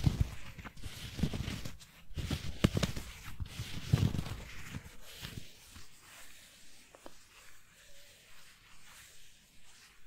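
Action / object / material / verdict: tap / foam squishy toy donut / foam / none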